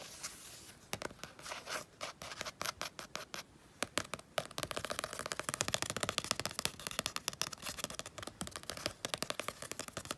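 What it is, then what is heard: Painted paper sketchbook page. Fingertips and painted nails scratch and tap the textured paint of a night-sky moon painting on a thin page of a spiral-bound mixed-media sketchbook lying on a fleece blanket. Bright, crisp clicks and scratchy rasps come in a quick irregular patter, sparse at first and then denser and continuous in the second half.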